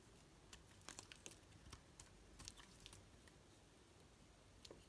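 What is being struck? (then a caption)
Solid soap bar cut with a metal blade. A metal blade cuts slices off a solid green soap block with red streaks held in the hand. A quick series of short, crisp, bright scraping clicks sounds over a quiet, steady hiss, each one dying away almost instantly.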